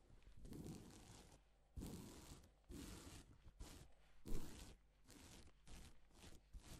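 A gloved palm and fingers rub over reversible plastic flip sequin fabric, mostly silver side up. The result is a series of soft, breathy scraping swishes with a bright rustling top, each stroke swelling and fading quietly.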